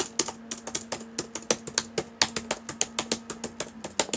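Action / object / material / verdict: tap / plastic laptop keyboard / plastic / none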